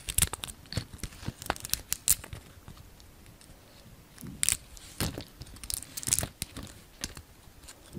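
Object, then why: Bar of soap cut with a knife blade. A solid pink soap bar with a dark red painted shell, held in the palm, is shaved and carved with the blade of a yellow utility knife. Crisp, bright cutting and flaking sounds come in short, sharp bursts with brief pauses between them. Each cut ends almost at once, leaving quiet scraping between strokes.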